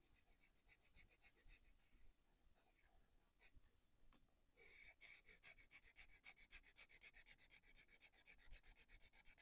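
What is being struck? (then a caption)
Felt-tip marker on a paper page. A white-bodied felt-tip marker, held by the fingertips, colours in a paper colouring book page on a wooden desk with repeated rubbing strokes. The marker tip makes a continuous scratchy, bright, hissy rub on the paper, pulsing at about four strokes per second. The strokes start soft, thin out briefly around the middle, then return louder and steadier to the end.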